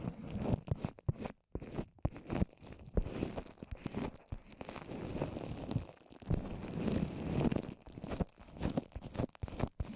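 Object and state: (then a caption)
Wet papier-mâché over a microphone. Long orange nails and fingertips tap and scratch all over a small rounded microphone covered in wet white papier-mâché over plastic wrap. The result is a dense run of close, low, muffled crunching and crinkling taps with sticky scratches and brief dropouts between them.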